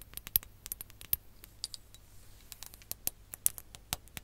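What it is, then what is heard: Glass hourglass tapped with fingernails. A ribbed glass hourglass filled with orange sand is tapped with long nails while being tilted and turned. The result is a rapid, irregular patter of sharp, bright clicks with almost no ring, some louder than others, over a faint low hum.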